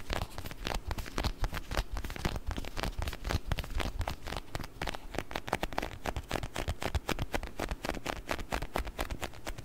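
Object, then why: Small plastic food container filled with water beads. A small round clear plastic food container with a blue lid, filled with orbeez, is held in both hands in front of the mic and tapped and scratched with fingertips and nails. Quick, irregular taps come about four per second, each a short, dry click over a soft low thump that dies away almost at once. Light scratchy rustles fill the gaps.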